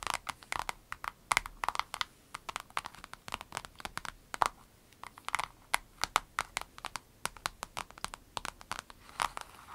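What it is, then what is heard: Clear vinyl zip pouch. Long red nails squeeze, scratch and crinkle a small, hollow, clear vinyl zip pouch with an avocado print and items inside. The result is a steady stream of quick, dry, bright crinkles and sharp clicks with almost no low end.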